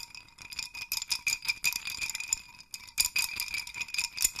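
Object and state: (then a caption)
Wooden hanging chime rattle. A wooden hanging chime rattle, a wooden dowel with hanging clusters of small wooden sticks, is held at both dowel ends and shaken so the sticks rattle against each other. The result is a dense, dry, bright clatter of quick clicks with almost no low end. It swells in uneven bursts, pauses briefly, then picks up again.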